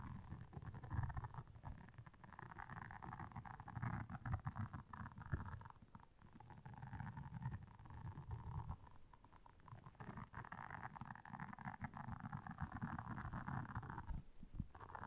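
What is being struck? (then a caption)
Silicone scrubber pad with soft bristles. Long nails scratch across the soft bristles of a solid, round, flat blue silicone scrubber pad lying on black fur. The result is a quiet, continuous, dense scratching rustle with a heavy low rumble and a hissy midrange band that swells and fades in waves.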